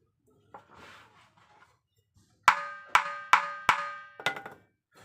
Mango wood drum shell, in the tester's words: মন্দিরে টোকা দিলে যেরকম সংশ করে এরকম